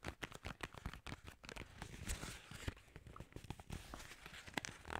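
Fingertips and nails grip, tap and scratch a long, narrow, hollow white paperboard skincare box with a yellow label, likely holding a bottle. The result is a quiet, dense run of short, dry taps and crinkly scratches with soft low thumps and brief bright crackles.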